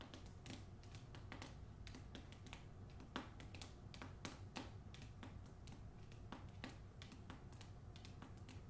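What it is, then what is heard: Hardcover book with paper dust jacket. Long nails tap and scratch the paper dust jacket of a hardcover novel, first on the front cover and then on the back. Quick, sharp clicks and brief scratches sound over a steady low hum, with a few louder taps standing out.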